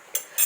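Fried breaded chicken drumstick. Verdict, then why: Crispy. Two quick, bright crunches from a freshly fried, breaded chicken drumstick, each a sharp burst of crisp high-frequency crackle that fades fast. The crackling coating sounds crispy, as expected.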